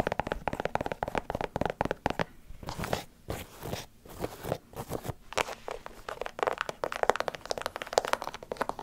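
An empty light blue and white leather sneaker is held close to a microphone while long nails scratch and tap its leather upper and sole area. Quick, dry, crunchy clicks come in dense bursts, with softer scraping stretches in the middle, and each tap dies away almost at once.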